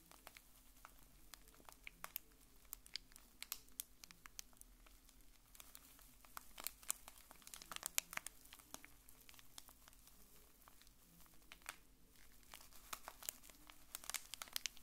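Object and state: Plastic wrapper package.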